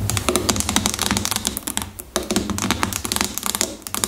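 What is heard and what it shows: A medium-sized, hollow plastic shampoo bottle, apparently filled with liquid, lies on its side on a table and is tapped on top with the long fingernails of both hands. Rapid, bright clicking taps come in quick runs with a short dip just before the two-second mark, each tap dying away quickly over a faint low hum.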